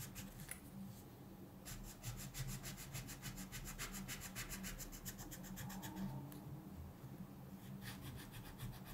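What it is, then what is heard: Paper page being colored with pencil. A thin paper mandala coloring page lies flat on a table, held down by one hand, while a colored pencil rubs across it in quick back-and-forth strokes. The strokes make a rapid, fairly uneven scratchy rasp with bright hissing bursts over a steady low hum. Two short pauses break the rhythm.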